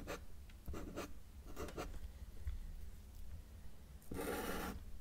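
A felt-tip marker held in the fingers makes short strokes on a flat white paper sheet lying on a solid table, drawing small trees. Brief dry scratching bursts come and go over a steady low hum, ending with a longer, brighter scratching stroke.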